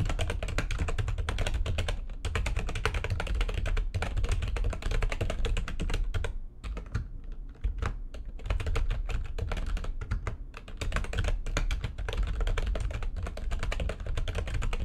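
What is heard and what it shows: Fast typing with long nails and fingertips on a full-size plastic computer keyboard with white backlighting and a hollow housing. A dense, continuous stream of quick clicks and clacks is heard over a deep, hollow thump, easing briefly around the middle before the rapid typing resumes.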